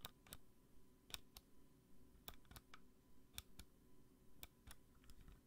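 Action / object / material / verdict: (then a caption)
tap / small plastic lamp with base / plastic / none. Long nails tap a small, hollow pink plastic bunny lamp on a black base, giving about a dozen sharp, bright clicks. The taps come at an uneven pace and die away almost instantly over a faint low background hum.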